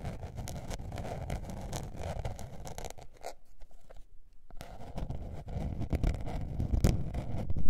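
Long painted nails scratch a small blue patterned spiral-bound notebook with a paper cover, first while it is held and then while it lies flat. The dense, rough scratching carries a low rumbling body, drops almost silent for a moment near the middle, then resumes and grows louder toward the end.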